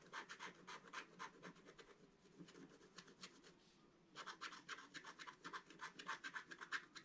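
A wooden stylus scratches fine lines into the coating of a flat black-coated scratch-art card. Quick, dry, bright scratching strokes come in an uneven rhythm, fade to a faint hiss for about half a second near the middle, then resume just as briskly.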